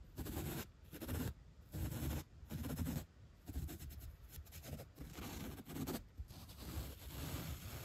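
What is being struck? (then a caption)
Foam block brushed with a bristle brush. A bottle brush with white bristles and a black tip is swept and scratched across the top of a thick, solid, three-inch white upholstery foam block. It makes soft, low, muffled scraping bursts with faint bright bristle hiss. The strokes come in distinct pulses at first, then blur into a more continuous scratching.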